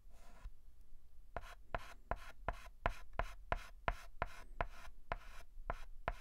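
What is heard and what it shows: A white chalk stick held in the fingers writes and scratches short strokes on a flat black chalkboard. A longer scrape opens the clip, then a quick, slightly uneven run of about thirteen dry, scratchy strokes follows, each stopping abruptly with no ring.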